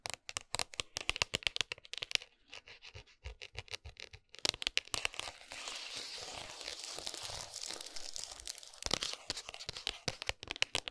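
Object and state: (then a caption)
Cardboard chocolate box. Long nails tap and scratch the printed front of a flat gold and brown cardboard dark chocolate box, closed with the bar inside and resting on a towel. Quick, dry, bright clicks come in rapid bursts, giving way midway to a steady, hissy scratching before the fast tapping returns.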